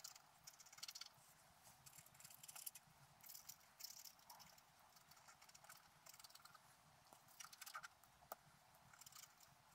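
A wooden stylus scratches lines into the coating of a flat black scratch-art paper sheet lying on a table. Quiet, bright, dry scratching comes in short irregular bursts, with a few sharper ticks. The sound has almost no low end.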